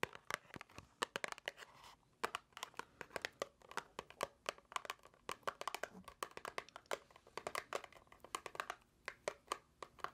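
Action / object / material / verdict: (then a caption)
tap / small paperboard box / paperboard / none. A small, hollow, seemingly empty white paperboard box is held in the hands and tapped and scratched with long acrylic nails. The result is a quiet, steady run of sharp, dry clicks with a papery crinkling and scratching texture between them. Each tap is brief, bright and clicky, and stops almost at once with no ring.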